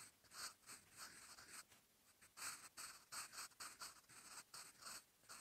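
A sharpened wooden graphite pencil, held in the fingertips, writes by hand on a lined paper notebook page resting as a solid flat sheet. Its tip scratches across the paper in a run of short, bright, dry strokes with brief pauses between them, and the sound stays quiet and close throughout.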